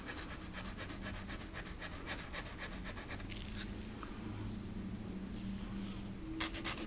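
A green felt marker tip rubs quickly back and forth on the rocker of a small, flat, thin solid wooden rocking horse cutout ornament held by the fingertips. The result is a soft, steady, bright scratchy rubbing over a low background hum, with the strokes fading midway and two sharper, louder scratches near the end.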